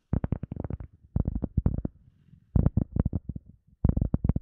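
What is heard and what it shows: A round, hand-sized, solid teal EVA foam sponge disc is held close to the mic and tapped and scratched with long fingernails and fingertips. Heard are rapid bursts of dull, low, thumping taps with almost no ring, separated by brief pauses, with soft scratching in between.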